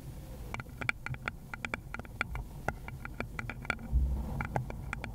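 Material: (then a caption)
Wood. Long pointed gloved nails repeatedly tap and scratch the base of a small, hollow, round wooden bowl held beside a fluffy mic cover. The result is a rapid, uneven run of short, dry, clicky taps with a bright, hollow tone, over a steady low background rumble.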